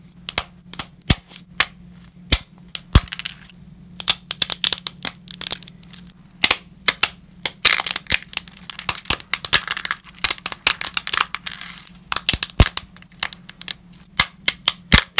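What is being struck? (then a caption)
Uncooked lasagna pasta sheets. Thin, solid, brittle, uncooked wavy-edged lasagna sheets are held in black nitrile-gloved hands and snapped into pieces over a pile of broken fragments. Dozens of sharp, bright cracks and brittle snaps come in irregular bursts, some clustered into crackling runs, each dying away almost instantly. A faint low steady hum sits underneath.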